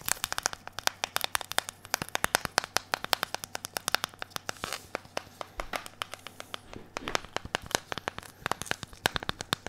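A hand-sized smartphone with a glass screen and a blue plastic bumper case is held in both hands and tapped and scratched with latex-gloved fingertips. Rapid, sharp, bright clicks come in quick bursts, with crinkly, scratchy rustling between them that may come from the gloves rubbing. The clicks stop instantly, over a faint steady low hum.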